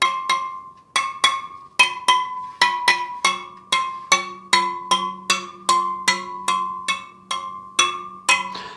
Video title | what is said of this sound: Superteam All Carbon EVO wheelset - Full review | slight differences in tone that means there SP slight difference in the spoke tension on this side